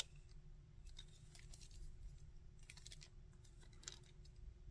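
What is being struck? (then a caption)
Hard plastic action figure. Fingertips and nails tap and scratch the front, back and arms of a hard plastic Sandman action figure. Soft, bright clicks and scratchy rustles come in quick clusters over a steady low hum, very quiet overall, with one sharper tap near the end.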